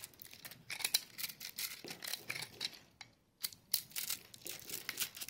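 A hand-held solid block of dry, crumbly, multicolored soap in pastel pink, green, yellow and white is scraped and cut with a metal knife blade while long painted nails and fingertips press it, crushing it into flakes. It gives a rapid series of bright, dry, high-pitched crackles and crunches with quick scraping bursts and almost no low end. The soap crumbles, and the falling crumbs collect in the palm.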